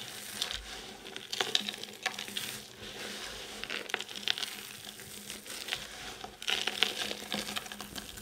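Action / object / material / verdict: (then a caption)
scrape / pile of soap shavings / soap / none. A pile of multicoloured dry soap chips is squeezed and crushed between both hands, then rubbed with the fingertips. The result is a steady, bright crinkling and crunching with many small sharp crackles on top, and almost no low end.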